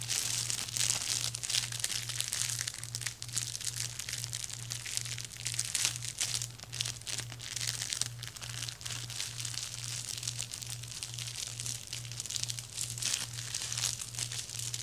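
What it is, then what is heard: Plastic shrink wrap crinkling. Fingertips and short nails of both hands tap and scratch across clear plastic shrink wrap stretched over a flat dark box resting on a lap, making it crinkle. A dense, bright crinkling and scratching continues throughout at a soft level, over a steady pulsing low hum.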